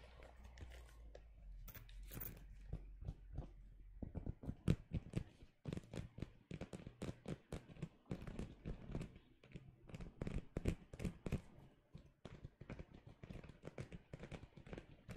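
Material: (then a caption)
Faux leather. Fingertips tap and handle a red pebbled faux leather zip wallet with metal studs, held close up. The first few seconds carry a steady low hum under soft rubbing and scratching. After that come rapid, dry, muffled taps and crinkly handling sounds, mostly low in tone, each dying away almost instantly.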